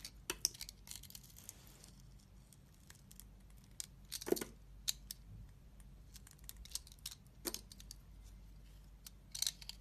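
A solid cream soap bar with a green glitter coating, held in the palm, has its coating peeled off in strips with a utility blade. Sharp, bright scraping and cutting clicks come in quick bursts over a low, steady background hum. Some louder crisp snaps stand out among the softer scratches.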